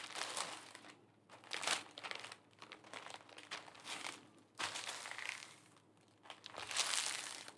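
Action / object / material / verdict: scrape / thin tissue paper wrap / tissue paper / none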